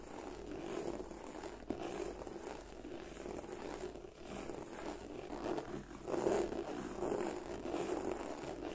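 Long nails slowly scratch and glide over the textured front of a black croc-embossed leather bag. The result is a soft, continuous rasping with a low-mid hum around 390 Hz and faint bright hiss. Several gentle swells of louder scraping come and go.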